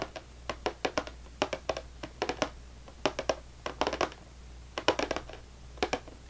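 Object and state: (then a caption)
Cardboard cracker box. Fingernails tap and scratch along the top edge of a full, closed cardboard saltine cracker box, making 27 short, dry taps in irregular bursts and clusters. Each tap has a papery midrange knock and dies away almost at once, over a faint steady low hum.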